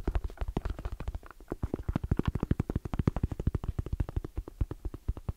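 Fingertips tap very fast on the lid and edge of a small, closed, hollow black EVA hard-shell zipper case with orange trim and a fabric-covered shell. The result is a rapid, uneven stream of about 49 dull, low, hollow thumps. Each one is short and dry, with almost no ring.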